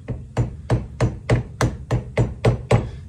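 A steel hammer with a wooden haft and yellow-capped head strikes the top of a small wooden wedge set in a wooden axe handle, which is fitted through a steel axe head held upright in one hand, driving the wedge into the handle's eye. Ten short, evenly spaced knocks sound as dull, low thuds with a brief bright click at each strike and almost no ring. The wedge stays solid under each blow.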